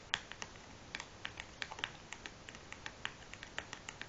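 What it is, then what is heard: Cardboard matchbox. Long nails and fingertips tap the top of a large, closed cardboard matchbox resting on a wooden table. About twenty quick, dry, clicky taps come in an uneven rhythm, bright and crisp with almost no ring. The tapping is quiet over a faint background hiss.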